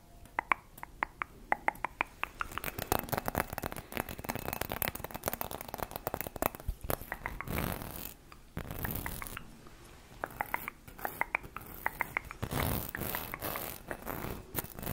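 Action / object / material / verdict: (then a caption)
scrape / ribbed glass Christmas bauble / glass / none. A hand-sized, hollow, gold ribbed Christmas bauble, apparently glass, is held in the hand while long red acrylic nails scratch quickly along its vertical ridges. The result is a zipper-like rasp of rapid, dry clicks, with some sharper, brighter ticks and short pauses between bursts.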